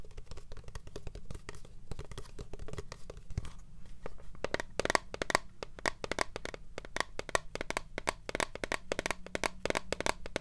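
Long fingernails tap rapidly on a tall, translucent blue plastic pump bottle with liquid inside, held sideways. The taps are quick, dry clicks with bright edges that become louder and more pronounced halfway through, over a low steady hum.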